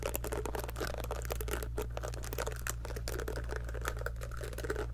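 Long acrylic nails pluck and flick the soft silicone bristles of a small pink heart-shaped scalp massager brush, held in one hand above a fluffy microphone. A steady stream of quick, dry ticking and flicking clicks runs over a constant low hum.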